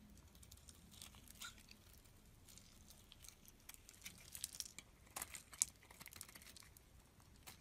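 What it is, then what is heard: Soap bar being scraped with a knife. A utility knife scrapes thin curls off the surface of a solid pink soap bar held in the hand. The sound is a quiet, bright, crinkly scraping with short crisp ticks that grow sharper toward the middle and fade at once with no ring.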